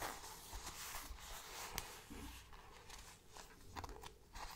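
Long dark nails and fingertips scratch and tap the back panel of a small round brown faux-leather bag, working toward its top edge by the end. Close, quiet, dry scratching and crackling is broken by a few soft, short taps that barely ring.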